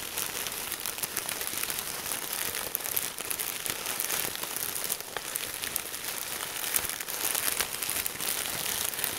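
A large Ziploc plastic bag full of red and green crinkle-cut paper shreds is squeezed and scrunched with both hands. It makes a steady, dense crinkling and crackling that is bright and hissy, with almost no low end, swelling slightly in the later moments.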